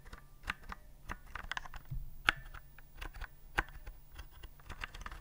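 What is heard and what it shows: Fingertips slowly press the round keycaps of a white plastic typewriter-style keyboard held upright. Each press gives a short, dry plastic click with brief bright ticks, spaced unevenly over a low, steady background hum.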